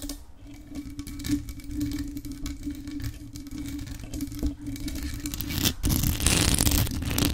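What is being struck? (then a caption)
Metal desktop microphone with mesh grille and rhinestones. Extra-long acrylic nails tap and scratch the jeweled body and mesh grille of a hollow grey metal USB desktop microphone decorated with rhinestones. Irregular clicking taps and scrapes sit over a low rumble and a steady hum. After a brief dip near the six-second mark, the scratching turns louder and brighter through to the end.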